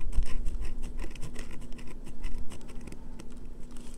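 Fingernails rapidly scratch and tap the face and edges of a solid, pale green bar of soap that is heavily scratched and held in the hands. The result is a quick run of short, dry clicks and brushing scratches with a bright edge, over a faint steady low hum.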